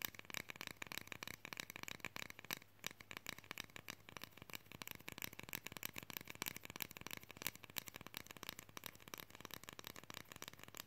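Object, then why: Flat plastic fridge magnet. A flat printed Guardians Groot plastic fridge magnet cutout, thin and solid and held in both hands, is tapped fast with long fingernails. The result is a dense, continuous stream of sharp, bright plastic clicks that die away instantly, with only a brief lull a few seconds in.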